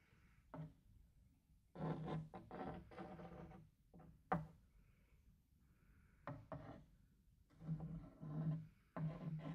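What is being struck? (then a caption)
Wooden tray. A small white cloth or brush held in the fingers is rubbed back and forth across the flat surface of a large, shallow, empty rectangular wooden serving tray with a printed bird-pattern base. The result is soft, dull, low-pitched scratchy swishes in separate bursts, with one sharper knock midway through.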